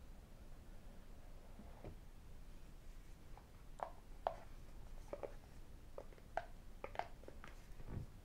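Fingertips and metal rings tap a small, hollow, white rigid cardboard iPhone box, with the lid lifted off by the end. Soft, scattered taps give short, hollow clicks pitched around 670 Hz that die away almost at once. The taps sit over a quiet, low background hum.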